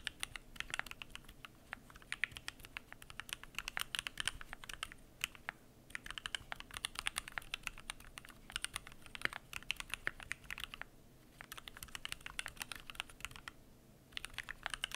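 Fingertips type continuously on a Keychron Q1 aluminum mechanical keyboard with PBT plastic keycaps, producing a rapid stream of short, bright clicks and clacks. The typing pauses briefly around 5, 11 and 14 seconds before resuming.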